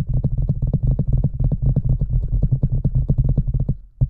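With a microphone inside a large hollow red rubber boot, a hand taps the top opening and then fingers tap the sides. About 25 quick, deep, hollow thumps follow in a steady patter, resonating around a low boomy pitch. They fade briefly before one last tap at the end.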